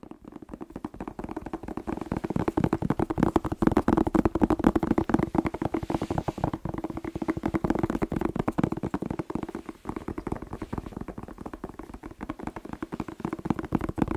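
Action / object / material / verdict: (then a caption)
tap / whole fresh bell pepper / vegetable / none. A whole, fresh, hand-sized red bell pepper, hollow with waxy skin, is held in one hand and tapped fast with fingertips and short nails close to a microphone. The result is a dense, steady stream of quick, short, hollow taps with a muffled low-mid tone and little brightness, swelling slightly in the middle before easing off.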